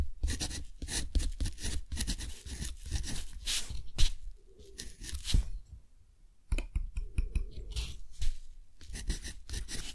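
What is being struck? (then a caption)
Thick textured cotton paper sheet written on with a metal dip-pen nib. A metal dip-pen nib scratches across a thick, textured cotton paper sheet, writing handwritten text while both hands rest on the paper. Quick, bright scratchy strokes come in a steady stream over a low rumble, fade into a near-silent pause around six seconds, then resume.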